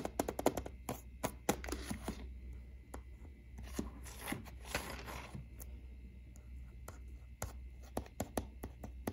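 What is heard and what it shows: A small, flat, hollow plastic Nintendo Switch game case for Splatoon 2, lying on a wooden shelf, is tapped and scratched with the fingertips and short nails. Quick, dry clicking taps die away almost instantly, broken up by soft, scratchy rustling passages, all at a quiet level.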